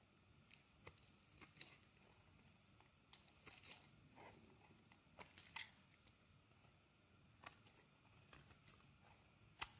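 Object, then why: Bar of soap shaved with a metal blade. A metal blade shaves curls off a solid purple soap bar held in the hand, making soft scraping and crisp crackling sounds over a quiet, low background. Sharp, bright transients pop out irregularly as curls break away.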